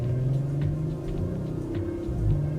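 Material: Nothing is struck.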